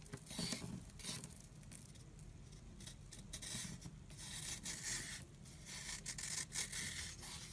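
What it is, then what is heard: Dry soap block scraped with a blade. An oval block of solid, dry, chalky light-blue soap is scraped and carved with a blade, crumbling into powder. The clip is a continuous soft, bright rasping and scratching with small crumbly ticks that swell and fade in uneven strokes, over a low, quiet rumble.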